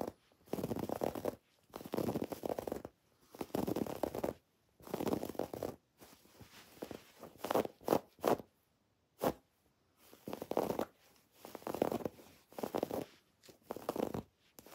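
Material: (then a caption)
Fabric. Long dark-painted nails scratch a soft, stuffed cream woven fabric throw pillow and its raised red and pink felt "XOXO" letters. The result is repeated bursts of soft, dry scratching, mostly in the midrange, with brief quiet pauses between strokes.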